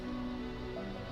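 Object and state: Nothing is struck.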